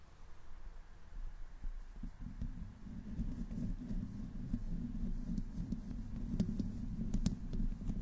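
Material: Metal mesh.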